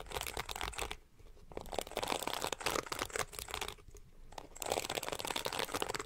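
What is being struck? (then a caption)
Plastic hairbrush bristles. Long painted nails scratch and flick across the tips of the pink, flexible plastic bristles of a palm-sized detangling brush held bristles-up. The result is a dense, bright, crinkly rustle of rapid ticks, with short quieter pauses near 1 and 4 seconds before the scratching picks up again.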